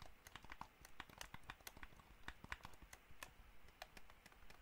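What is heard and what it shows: Fingernails tap the shell and buttons of a hollow white plastic gamepad in a quick, irregular series of light, dry clicks and ticks. Each tap has a soft, hollow low knock under a brighter click and dies away almost at once.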